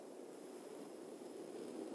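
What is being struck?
Nothing is struck.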